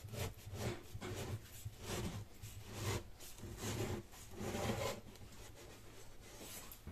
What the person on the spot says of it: You can hear how crispy this cake is when you cut it. It doesn't turn into mush at all .